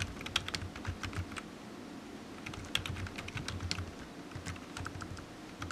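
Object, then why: Plastic computer keyboard. Fingertips of one hand tap the keys of a solid, black low-profile plastic computer keyboard resting on a desk mat while typing. Short, bright clicks come in quick, uneven runs over a low steady hum, each tap dying away almost instantly.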